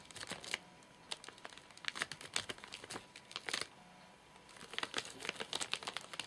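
Fingertips and short nails tap and scratch a full, flat rectangular Soft Nougat bar in a crinkly plastic wrapper with crimped ends, lying on a sofa. Bright, dry crinkles and sharp ticks arrive in quick bursts with almost no low end, each dying away instantly. A short quiet pause falls just before the last flurry of crackling.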